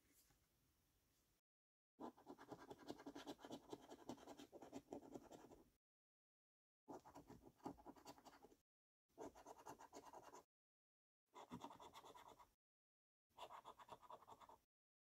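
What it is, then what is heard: Paper scratchcard being scratched. A thin-card Mega Multiplier paper scratchcard is placed down on a dark table with a soft, quiet rustle. A coin then scratches off its latex coating in five separate bursts of rapid, gritty scraping, the first and longest lasting nearly four seconds. The scraping is rich in low-mid rasp with a bright, papery edge.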